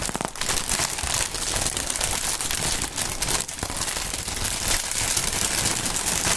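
A clear polyethylene air-cushion packaging strip with green print and hollow inflated chambers is held and crumpled between the fingertips of hands in fingerless gloves. The result is a steady, bright crinkling and crackling that runs for the whole clip. It is dense with overlapping small crunches and has only brief dips in loudness.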